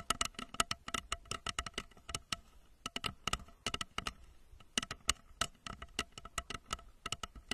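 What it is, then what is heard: Plastic rocket lamp cover tapped. Long nails tap quickly on the sides of a hollow plastic rocket-shaped lamp cover, about 30 cm tall, held in both hands and fitted over the microphone under blue light. About 35 short, sharp, bright clicks patter in uneven bursts, each carrying a faint hollow ring near 2.9 kHz that dies away almost at once.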